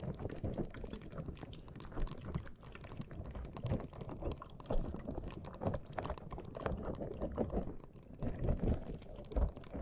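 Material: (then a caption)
Rubber. Fingertips and long nails rub and scratch the flexible spikes of a small, green, soft rubber or silicone puffer ball, a hollow-ish squishy toy held in both hands above the microphone. The result is a steady, dense stream of soft, muffled scratching and squishing with many quick little crackles, heavy in the low end with no bright edge.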